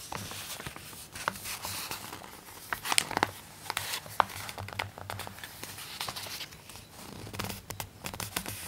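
A page of an open glossy paper magazine is turned and then rubbed flat with fingertips and nails. Soft, bright paper rustling and crinkling is broken by quick scratchy ticks and sharper snaps, over a faint low hum.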